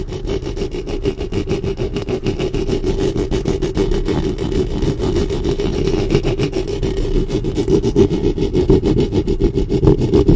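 Long nails and fingertips rub and scratch the metal mesh grille head of a black studio microphone. The result is a dense, continuous, low rumbling scrape made of rapid, uneven strokes, with most of the energy in the low and low-mid range and very little brightness. The level stays steady and swells slightly toward the end.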